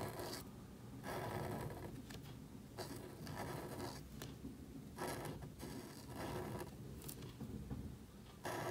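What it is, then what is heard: Marker nib scratching on thin cardstock. A marker nib rubs and scratches across a small, thin black cardstock card held flat while lettering. Bursts of dry, bright scratching come in repeated strokes, separated by short quieter pauses over a soft low background.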